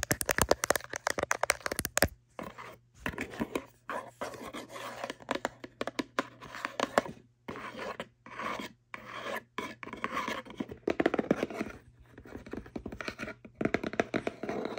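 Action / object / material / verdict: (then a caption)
scrape / small cardboard box / cardboard / none. A small, hollow kraft cardboard box with printed logos is rubbed and scratched with fingertips and long nails on its side face. The first two seconds are a fast run of sharp scratches. After that come bursts of dry, papery rasping and rubbing, separated by brief pauses, with a steady low hum underneath.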